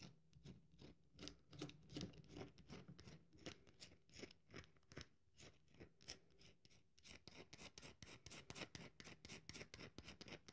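Long nails repeatedly scratch and flick at the top edge of a solid, cream-colored dry bar of soap held upright, crumbling it. The result is a quick series of crisp, dry scratching clicks with bright highs and a soft low thump under each one. The flicks grow denser and more even toward the end.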